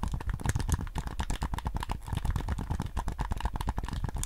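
A white PS5 DualSense controller with a hollow hard plastic shell, handheld size and held in both hands, is tapped on its shell with fingertips while its buttons are clicked. The result is a rapid, steady stream of short, dull plastic taps and clicks with a deep, hollow low-end thump and almost no ring.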